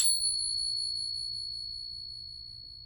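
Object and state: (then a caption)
Genuine silver dollar coin. A real silver Morgan dollar is pinged once, giving a bright, high ring. The ring sustains and fades slowly across the clip, the long ring expected of a genuine silver dollar.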